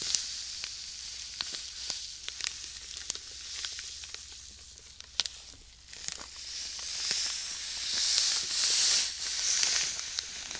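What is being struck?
Plastic bag filled with sand.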